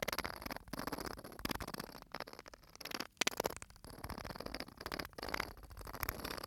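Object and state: Bottle filled with sand.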